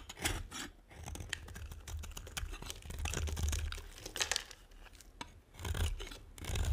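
A metal blade carves and scrapes crisp shavings from the edge of a solid, dry, brown and white striped bar of soap. Dry, crackly scraping comes in uneven bursts with bright, gritty texture over a low rumble, rising and falling as the blade works the edge.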